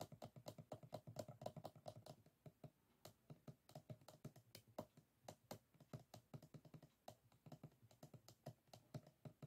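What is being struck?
Closed bamboo folding fan.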